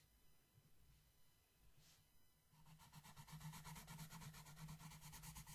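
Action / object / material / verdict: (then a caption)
scrape / paper coloring book page rubbed by a wooden colored pencil / paper / none. A wooden yellow colored pencil, held in the fingers, scratches and rubs across the flat paper page of a coloring book with a dreamcatcher design lying on a table. The first couple of seconds are faint and quiet. Then rapid, fairly regular back-and-forth scratchy strokes start, about three per second, and grow louder over a steady low hum.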